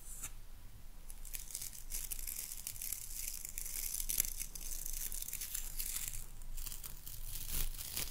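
Long nails scratch and rake across the dark boar bristles of a hairbrush set in a light wooden body. The result is a dense, crackly, tearing-like bristle rasp with a bright hiss, rising and falling in steady, overlapping strokes with no clear gaps.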